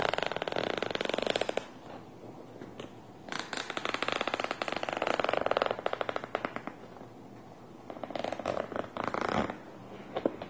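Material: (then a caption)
Nylon fabric. Fingertips and nails scratch and rub across the top of a small black nylon fabric pencil case with purple trim, hollow and filled with supplies, resting on a table. Dense, raspy scratching comes in bursts, separated by softer, quieter rubbing, with a mid-range body and some bright edge. Near the end, a hand moves near the zipper pull.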